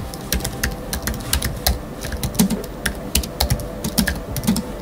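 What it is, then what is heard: Aluminium and plastic low-profile computer keyboard being typed on. Fingertips of both hands type rapidly on a space grey Apple Magic Keyboard 2 with numeric keypad, a thin aluminium body with black plastic low-profile keys resting on a wooden desk. Short, dry clicks and taps follow each other at an uneven pace, with bright clicky tops over soft, low thuds.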